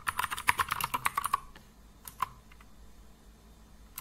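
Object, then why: Plastic mechanical keyboard. Fingertips of both hands type on a compact plastic mechanical computer keyboard with blue and grey plastic keycaps resting on a wooden desk. A rapid run of sharp, clicky key-press taps with a bright midrange snap fills the first second and a half, then a few scattered single presses follow after a pause, for 14 taps in all.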